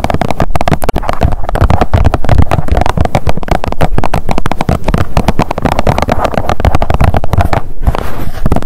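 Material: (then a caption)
Plastic. Long nails rapidly tap and scratch the surface of a blue plastic sunscreen squeeze tube. The result is a dense, continuous stream of dull, hollow clicks and scuffs, heavy in low thumping tones with very little brightness.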